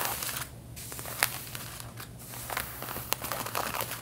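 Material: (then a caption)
Denim. Long painted fingernails on both hands scratch across the back pockets and fabric of worn light-blue denim jeans. The result is a bright, dry rasping with quick crackly scrapes and a few sharper snaps, over a faint steady low hum.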